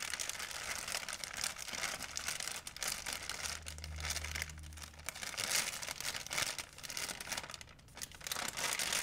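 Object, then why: Thin plastic shopping bag. An empty white plastic shopping bag is stretched, folded and crinkled in both hands, making a dense, continuous bright crackling with quick rustling bursts throughout. A faint low steady hum briefly sits under the crinkling near the middle.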